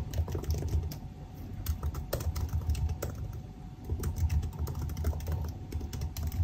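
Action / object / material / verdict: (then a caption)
tap / laptop keyboard, plastic keys in aluminium body / plastic / none. Fingertips of both hands type continuously on the black plastic keys of a silver aluminium laptop keyboard. A steady stream of quick, short key clicks rises over a heavy, low, dull rumble, with brief bright ticks on the sharper strokes and a slight dip in level midway.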